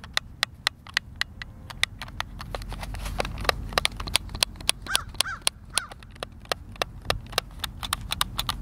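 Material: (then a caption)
Plastic. Fingertips press and tap the buttons of a white, hand-sized, hollow plastic Xbox controller, producing a long, irregular series of sharp, bright clicks that stop almost instantly. A soft low rumble sits underneath, and a few faint gliding tones appear midway.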